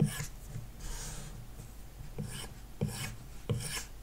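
A plastic stylus tip is dragged in short shading strokes across an iPad's glass touchscreen, likely covered with a matte paper-like protector, with the tablet lying flat on a wooden desk. Four dry, rasping scratch strokes are heard, each starting with a soft low tap and followed by a brief bright hiss, over a quiet background.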